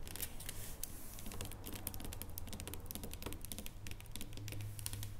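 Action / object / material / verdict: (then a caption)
tap / dark chocolate bar on foil / chocolate / none. Long painted nails tap rapidly on a solid dark chocolate bar lying flat on its foil. The result is a quick, irregular stream of short, bright clicks that die away almost instantly, over a steady low hum.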